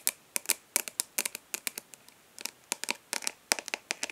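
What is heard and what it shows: Long nails of both hands tap and lightly scratch the embossed front lid of a rectangular, hollow plastic eyeshadow palette held upright. About twenty quick, crisp clicks arrive in irregular bursts, bright and dry with no low end, each dying away almost instantly, with faint scratchy rustles between them.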